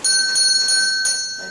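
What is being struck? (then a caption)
Small metal call bell. A row of servant call bells in a castle kitchen, each wired to a handle in a different room so servants knew which room was calling, is tapped to demonstrate them. Clear, bright metallic rings sound with a steady high tone and a lower mid ring underneath. The tones sustain and slowly fade.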